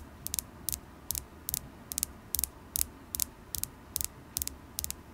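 Long acrylic nails tap a solid, polished carnelian crystal point held in the fingers. About a dozen quick bursts of sharp, bright clicks, many in close pairs, repeat at a steady pace over a low background hum. Each tap dies away almost instantly, with no ring.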